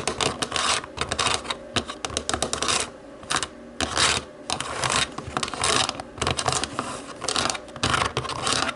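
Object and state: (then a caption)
Plastic TV remote. Long nails rapidly tap and scratch the white buttons of a black plastic TV remote, making dense bursts of bright, dry clicking and scraping. Brief quieter pauses break up the bursts before the tapping picks up again.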